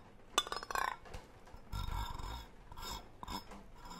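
A hollow green cylindrical metal tin with a gold lid, held close, has its lid rim scratched and rubbed with a brush-like tool while long nails tap and scrape its body. A sharp, bright metallic clink opens into quick, crackly scratching, then softer, fuller rubbing and brushing, with another light tap near the end. The ring dies almost at once, giving dry, close-up textures.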